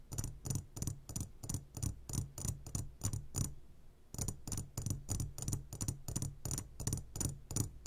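Fingertips of both hands tap on a clear glass jar full of gummy candies, making about two dozen quick, short taps at a steady pace. Each tap is a dull low thud with a bright glassy click on top. There is a brief pause a little past halfway before the tapping resumes.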